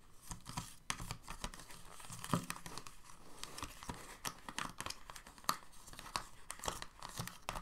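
Fingertips and short nails tap and scratch across the hollow moulded ridges of an empty, clear, thin plastic paint-tube insert tray sitting in a white box. The result is quiet, dry, crinkly taps and scrapes with a hollow low body and bright plastic ticks. The clicks come in irregular, closely spaced bursts that die away almost instantly.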